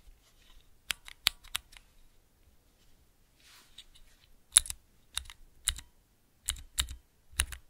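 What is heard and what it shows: Fingertips press the transparent keycaps of a small clear plastic 3x3 Cherry MX key switch tester held in both hands, producing eleven sharp, bright clacks with a slight low thump. The clacks come in an early cluster, then a soft rustle, then a second, louder run, each dying away almost instantly.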